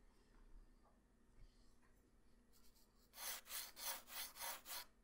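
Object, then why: Graphite pencil on a paper sheet. A graphite pencil with a black wooden body, held by hand, sketches circle outlines on a flat white paper sheet resting on a hard surface. After a few seconds of near silence with faint soft ticks, six quick, evenly paced scratchy rubbing strokes follow, each a bright, hissy swish.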